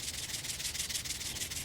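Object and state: Ripe dry poppy seed pod with loose seeds.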